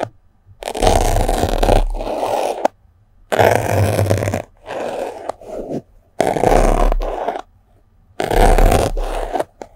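A yellow-headed metal sewing pin is pushed into and scratched through a small white block of solid, porous melamine foam sponge held in the fingers above the microphone. Four long bursts of dense, gritty scraping and crunching, with a strong low rumble, are separated by short quiet pauses and a few softer scratches in between.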